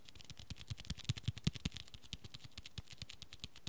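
Fingertips and nails tap and scratch the red textured cloth cover and spine edge of a small, solid hardcover book. A quick, uneven run of soft, dull thumps mixes with bright clicky ticks and a faint scratchy hiss. Each tap dies away almost instantly.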